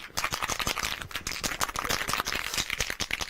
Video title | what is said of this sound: Prima, Claina Palmer, Pink Ink Designs and more on Hochanda - The Home of Crafts, Hobbies and Arts | got a ball bearing it so i suggested you just have to make sure you shake it well